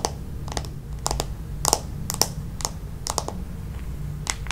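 Long nails tap and scratch on the back of a red plastic paddle hairbrush, a smooth hollow plastic shell. Irregular, sharp, dry clicks with bright high edges ring out only briefly over a steady low hum.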